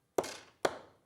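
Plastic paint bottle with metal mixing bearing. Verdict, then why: Stuck. Two sharp, mid-pitched taps on a bottle of mica pigment paint whose pigment has settled at the bottom, each fading quickly. The taps are meant to free the mixing bearing inside, which is stuck because it gets caught up in all the mica.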